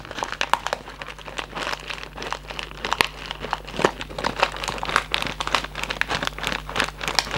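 A white Raffaello cardboard candy box with a plastic window and candies inside is held close in both hands while fingertips and nails scratch and squeeze the cardboard and plastic. Dense, crisp crinkling and scratching come in rapid bursts with quick bright clicks, over a faint steady low hum.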